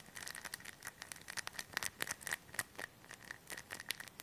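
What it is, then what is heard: Plastic bag of polyester stuffing. A hand-sized, thin, clear plastic bag full of white polyester stuffing is pressed, patted and crinkled with fingertips close to the mic. A quiet, rapid series of soft pats and crisp, bright crinkles follows, with a faint steady tone near 1.9 kHz running underneath. There is almost no low end, and each tap dies away instantly.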